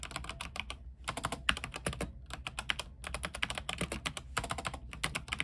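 A compact mechanical keyboard with white plastic keycaps and a silver case, lit blue, is typed on with the fingertips of both hands. Quick, crisp clacks come in steady bursts with brief pauses, each one short and bright, with a clicky tone around 2.8 kHz over a soft low thud.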